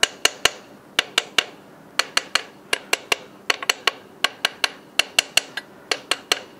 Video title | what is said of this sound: #42 大型・トレーラーの最新整備設備✨【東日TW型トルクレンチ・インガソールランドコードレスインパクトレンチ】 | これ全部ね規定トルクでキッチリ締めたものなので良い音、していますね